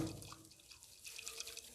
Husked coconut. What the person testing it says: जैसे आप इसको हिलाएंगे तो देखेंगे जल की तरह बजेगा